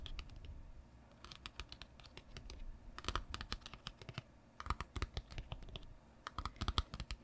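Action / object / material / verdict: tap / large printed cardboard box / cardboard / none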